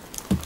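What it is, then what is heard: Hollow Ficus buttress root. A hollow wooden buttress root of a big Ficus tree, which supports the tree in place of a taproot, is struck so the sound vibrates for communication over about five kilometres. Faint, bright clicks come first, followed by one loud, low, hollow thud pitched near 190 Hz that dies away quickly.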